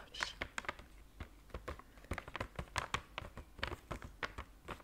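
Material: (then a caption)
Cardboard. Fingernails tap rapidly on the front face of a flat, square, white printed cardboard box of Belgian chocolates. Over twenty short, dry, bright clicks come in an uneven patter, each dying away almost at once with no ring.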